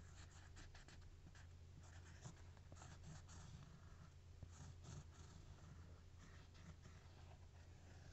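A capped plastic marker tip traces and scratches across the textured surface of a single thin, solid, toast-shaped cork coaster held upright. The result is a steady, soft, dry scratching with a low hum underneath and several brief brighter scrapes.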